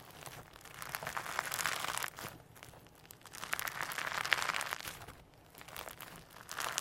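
A lump of firm, sequin-packed hologram slime on a white table is pressed flat, stretched and folded with the fingertips of both hands. It gives dense, bright crinkling and crackling that swells into louder bursts and fades between handlings.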